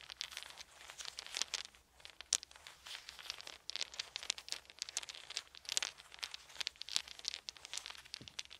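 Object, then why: Wooden beads. Wooden beads are squeezed and rolled in both fists, clacking against each other. A dense, continuous run of quick, bright clicks and crunchy rattles rises and falls in loudness, with almost no low end and each click dying away almost instantly.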